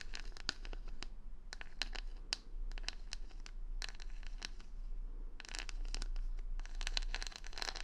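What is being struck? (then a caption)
Wooden hair brush with plastic rhinestone stickers. Long nails scratch over the plastic rhinestone stickers covering the back of a solid wooden paddle hair brush held close to the mic. The result is a dense run of bright, crisp clicks and scratchy ticks, busiest at the end, over a steady low hum.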